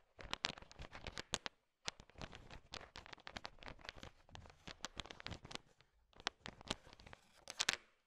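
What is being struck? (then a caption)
Heap of sugar-shelled peanut chocolate candies. A heap of small, hard, sugar-shelled candy-coated peanut M&Ms is stirred and poked with a thin wooden stick. Dense, bright clicking and rattling clatter in quick clusters, with a brief silent gap near the two-second mark and a louder burst of clicks toward the end.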